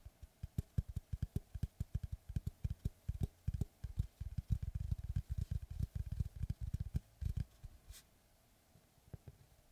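Fingertips and nails tap and scratch the flat, pale face of a large, round, solid slice of log with its bark edge, held upright in both hands. The result is a quick, uneven run of dry, muffled, low knocks with almost no ring, thickening into a busy flurry midway. It then trails off into near silence with a few last soft taps.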